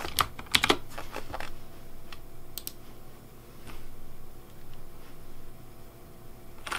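Fingertips type on the keys of a pink plastic Razer Deathadder V3 Pink mechanical keyboard with blue backlight. Several sharp, bright clacks come in quick succession at the start, then lighter, scattered key taps continue over a low background hum.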